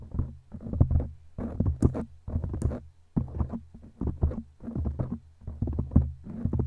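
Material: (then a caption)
Foam. Long glittery claw nails on both hands scratch a black foam windscreen on a microphone. The scratching comes in repeated bursts of low, muffled rumbling and crackling, with a deep boomy hum and only faint brighter edges.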